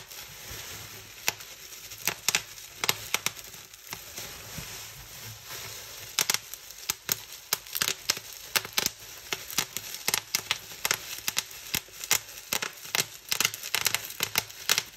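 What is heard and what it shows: Both hands pinch a clear plastic bubble wrap sheet and pop its bubbles with their fingertips. Dozens of sharp, bright snaps ring out at an uneven pace, with soft crinkling and rustling of the plastic between them. The pops grow denser through the second half.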